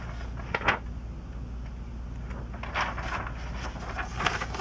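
Hands hold the edges of an open glossy paper magazine, a 2002 issue of Sports Illustrated with vintage ads, turn a page, then lay their fingertips flat and rub them on the spread. Short crisp crinkles and a louder swishing page turn stand out over a steady low hum, followed by softer papery rubbing.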